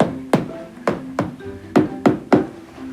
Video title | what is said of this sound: Sütten Peynire - Grundig - Ruhun Doysun - 2. Sezon 10. Bölüm | As for the maturity of the cheese--listen to this sound, it’s a dead sound, meaning the bacteria has spread everywhere.